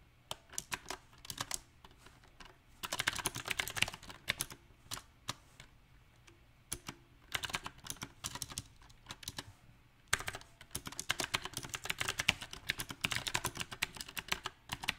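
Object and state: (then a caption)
Mechanical keyboard with round plastic keycaps. Fingertips type on a backlit compact mechanical keyboard with round typewriter-style plastic keycaps on a silver metal frame. Bursts of quick, bright, sharp key clicks come in uneven runs, with short quiet pauses between bursts.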